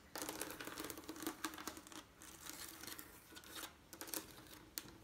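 Fingernails tap and scratch across a leaded stained glass window made of colored diamond-shaped panes joined by lead strips. Bright, crisp clicks and raspy scraping sounds come in quick bursts with short pauses.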